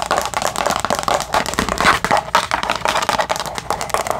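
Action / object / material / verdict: tap / thin clear plastic divided food container lid / plastic / none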